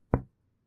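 A single low, hollow knock from percussing the chest wall over the intercostal spaces along the midclavicular line. The short thump centers near 120 Hz and fades within about 0.2 seconds, giving the normal resonant sound of a healthy, air-filled lung.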